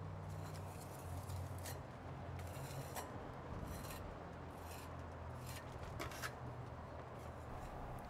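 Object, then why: Brick-dust concrete in a wooden mold, scraped with a metal putty knife. A wide metal putty knife, held in the hand, scrapes and smooths the surface of a small rectangular slab of freshly poured, wet, reddish improvised Roman concrete made with terracotta brick-dust pozzolan, set in a shallow wooden frame on a concrete floor. A steady, gritty rubbing and scraping plays over a low hum, with brief brighter rasping strokes as the blade drags across the wet mix.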